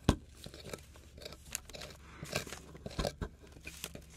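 A hand holds a solid, crumbly plaster excavation block on a wooden board while a metal palette knife and pick scrape and chip at it. Short, crunchy scrapes and sharp chips come in irregular bursts, with a dry crumbling of debris between them.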